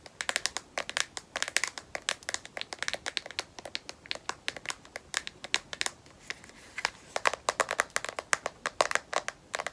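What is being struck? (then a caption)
Smartphone in rubberized plastic case. Long nails rapidly tap the edge and back of a smartphone in a black matte rubberized plastic battery case, held edge-up, the case solid. The taps are sharp, dry clicks with bright, crisp tops and no low end, landing in a quick, uneven stream with almost no ring after each one.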